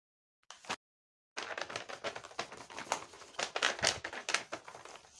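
A large flat paper blind bag printed with Hello Kitty, sealed, covered in clear tape and stuffed with small paper packets, is pressed, rubbed and squeezed by fingertips and long painted nails. A brief crinkle is followed by a short silence, then dense, bright, crackly crinkling and tapping continues to the end with little low end.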